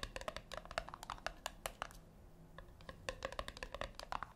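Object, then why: Small round metal speaker. Long fingernails tap rapidly on the top of a small round, puck-shaped metal speaker with a brushed metal side, resting on a white cloth. The taps are short, dry clicks with a hollow, woody tone. They come in quick bursts, thin out briefly in the middle, then pick back up.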